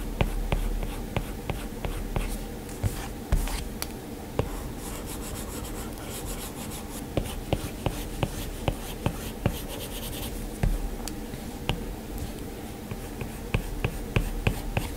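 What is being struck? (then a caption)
Plastic stylus on a glass touchscreen. A plastic stylus tip taps and strokes across the flat, solid glass screen of an iPad, making soft scratchy drawing sounds broken by sharp, brief clicks. A steady low hum sits underneath throughout.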